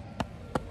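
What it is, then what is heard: Hollow-sounding facade render. Two taps on the exterior render (crépi) of a building facade give short, dull knocks centered around 500 Hz that die away almost at once. The render sounds hollow, suggesting the whole face may need redoing, or at least that work should be budgeted.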